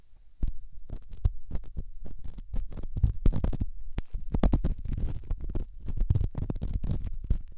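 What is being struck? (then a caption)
Rough stone on silicone ear. A small, solid, grey rough rock held in the fingertips is rubbed and scratched inside and around a silicone ear on a binaural microphone, mixing the sound of stone and silicone. It makes a steady run of close, muffled low thumps and rubbing scrapes, with quick bright crackles at each stroke and almost no ring after.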